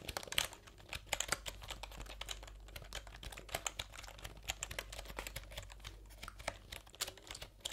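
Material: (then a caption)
Plastic. Fingertips type quickly on a full-size plastic computer keyboard with round plastic keycaps, held up in front of the face. A fast, uneven stream of bright, crisp clicks and clacks dies away almost instantly, over a faint steady low hum.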